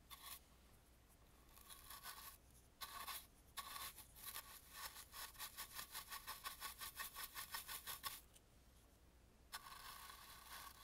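A dry brush sweeps into the carved crevices on the side of an antique carved, painted wooden mask, making soft, bright, bristly scratching. The brushing comes in bursts separated by quiet pauses, with a rapid run of short, even strokes in the middle.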